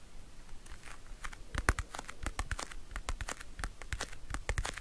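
Fingernails scratch and tap the lid and edges of a small, round, pink patterned compact folding mirror, held closed in both hands in its hollow hard plastic case. A rapid, uneven series of short, dry clicks and scratchy crackles is heard, each with a bright top and a soft low thump. The taps die away almost instantly.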